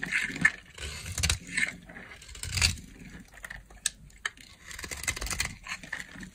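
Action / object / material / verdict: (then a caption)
scrape / bar of soap cut with a knife blade / soap / none. A solid yellow bar of dry soap, held in the hand, is cut with a utility knife blade, and chunks break off against long nails. Dry, bright scraping and crumbly crunching come in uneven bursts, with sharp little cracks and snaps as the pieces give way.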